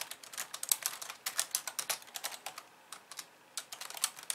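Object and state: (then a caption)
Plastic computer keyboard. Both hands with long painted nails type and tap on a hollow, pink-framed plastic computer keyboard with white keys resting on a wooden desk. The result is a quick, uneven run of dry, bright clicks with almost no low end and very short decay, with a brief lull near the three-second mark before the tapping resumes.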